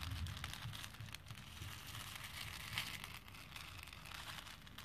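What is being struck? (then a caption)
Plastic pearl beads in a plastic bowl. A hand with painted nails rakes and stirs through a plastic bowl full of small, solid plastic faux pearl beads. It makes a steady, dense rattle of bright clicking and clattering over a soft low rumble, with a slightly louder swell near the end.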